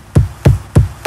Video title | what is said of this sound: Urban explorers avec BHV | it sounds Hollow if you hit it it's kind of like hitting a drum